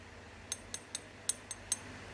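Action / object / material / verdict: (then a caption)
tap / lime plaster Buddha amulet / lime plaster / hard. A Phra Somdej lime-plaster Buddha amulet, with a fishbone pattern on its back, is tapped six times, giving short, bright, hard clicks with almost no ring over a faint low hum. The sound is judged hard, put down to the hardness of the lime or plaster body, which may be a mixed lime.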